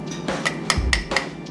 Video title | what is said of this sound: DDG: Pewter Play button build | If you tap it and it sounds hollow, then you know it ain't ready, it's not cooled down enough.